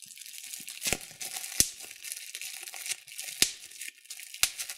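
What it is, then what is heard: Plastic bubble wrap popping. A large, crumpled sheet of clear plastic bubble wrap is crinkled by hand while bubbles are squeezed and popped between both thumbs. A steady bright rustle is broken by four sharp, snapping pops with almost no ring.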